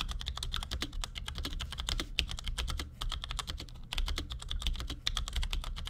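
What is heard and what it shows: A compact black plastic Cherry G84-4100 mechanical keyboard with ML switches, resting on a desk, is typed on with the fingertips of both hands in quick taps. A rapid, steady stream of short, bright plastic clacks runs over a low, constant hum, with a brief lull just before the four-second mark.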